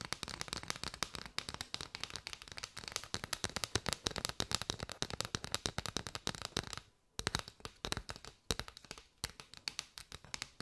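Long white nails rapidly tap and scratch a curved bundle of hollow striped paper straws held up close. The result is a dense stream of sharp, bright, dry clicks with almost no ring, briefly pausing twice near the end before resuming.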